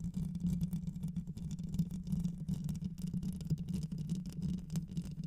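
Long white nails on both hands scratch the rounded metal mesh grille of a black microphone with a hollow head. This makes a dense, continuous rubbing rustle heard as a low, steady buzz around 168 Hz, with almost no bright content. The level fluctuates throughout without any clear breaks.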